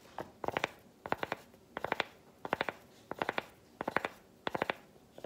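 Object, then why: Solid milk chocolate bar tapped with a chocolate piece. A solid, textured milk chocolate bar is tapped with a smaller piece of chocolate held in the fingers. About 29 short, dry clicks come in quick bursts of three to four, roughly every 0.7 seconds. The clicks are crisp and bright with almost no ring, against a faint background hiss.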